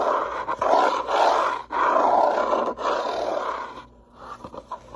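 Long nails scratch and tap the top edge and front face of a small, closed, hollow brown corrugated cardboard box. Dense, rasping scratch strokes come in loud bursts with a mid-range, papery tone. After a short pause near the end, softer, quicker taps follow.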